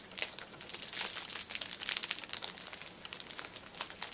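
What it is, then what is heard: Plastic-wrapped pack of tissues. Long painted nails tap and scratch the plastic-film wrapper of a cellophane-wrapped stack of filled paper pocket tissue packets resting on a table. The result is a dense run of quiet, bright crinkles and crackles, with sharp little taps and almost no low end.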